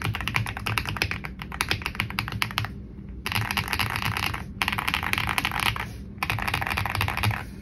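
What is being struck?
Plastic mechanical keyboard.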